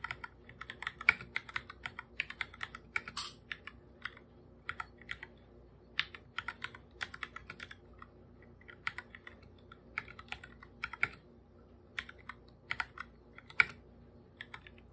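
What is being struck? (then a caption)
Plastic computer keyboard keys. Bare fingertips type steadily on a full-size, hollow black computer keyboard with plastic keycaps, producing a continuous run of short, bright clicking taps. The keystrokes come in quick bursts with brief pauses, each one crisp and dry with almost no low end and no ringing.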